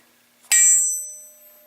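A suspended VW forged steel crankshaft is tapped once on the throat, away from the bearing surfaces, giving a bright, high-pitched metallic ring that sustains and fades over more than a second. The long ring marks it as a true forged crank.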